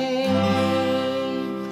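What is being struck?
Nothing is struck.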